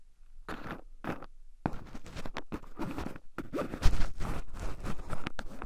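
Two wooden chopsticks stir and poke into a small wooden bowl heaped full of shelled raw pine nuts, with two black microphones buried in the pile so the nuts also rub against them. The result is a close, dense run of scratchy, crunchy rustling bursts over a heavy low rumble, with short pauses between strokes.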